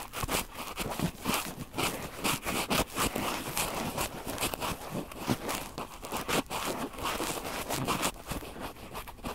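Cotton swabs are rubbed in circles on the two metal mesh capsule grilles of a red recorder, producing close, scratchy rubbing and crackling. The sound is dense and continuous, spanning low to bright frequencies, with frequent short bursts as the swabs drag across the mesh.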